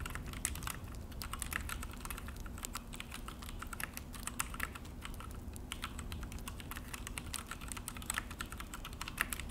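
Both hands type with their fingertips on an Akko full-size mechanical keyboard with an orange plastic case and black plastic HyperX keycaps, resting on a desk. A fast, steady stream of short, dry, bright clacks comes over a constant low hum. Each key press dies away almost instantly.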